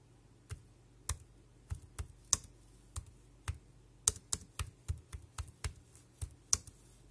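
Fingertips tap the round keys of a dark grey compact plastic wireless keyboard with a hollow casing. Irregularly spaced, sharp, bright clicks sound with a slight low thump and almost no ring. They start sparse, then quicken into a steadier typing rhythm.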